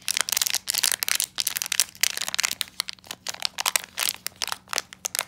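A small, closed black metallized plastic foil blind bag holding an enamel pin is held in both hands and crinkled, squeezed and torn open with the fingertips. It makes a rapid series of bright, dry crinkling and crackling bursts that stop dead with no ring, over a faint steady low hum.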